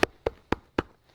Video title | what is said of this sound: Hochanda TV - The Home of Crafts, Hobbies and Arts Live Stream | that's not flimsy. That's not a piece of card. That feels like wood in there. I can't even bend it.